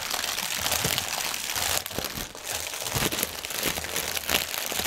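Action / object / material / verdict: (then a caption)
scrape / inflated plastic air cushion packaging film / plastic film / none. Hands crinkle and press a clear, hollow, inflated plastic air pillow packaging strip with fingertips and nails. The result is dense, bright crinkling and crunching of plastic film with many sharp crackles and little low end, easing briefly near the two-second mark before picking back up.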